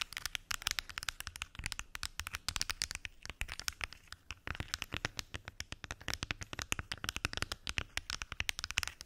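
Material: Plastic.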